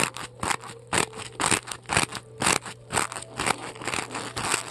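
Long decorated acrylic nails dig into and scratch the top of a large, solid white polystyrene foam ball. Short, bright, crunchy scraping bursts repeat about twice a second, each with a squeaky crackle and no ring, over a faint steady low hum.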